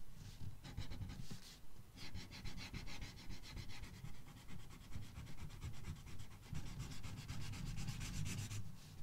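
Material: Paper.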